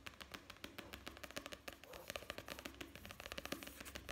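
Fingertips tap and scratch fast on the printed paper pages and page block of an open, solid paperback book. The result is a quiet, rapid run of short, crisp taps with bright, papery scratching between them, each tap dying away almost at once.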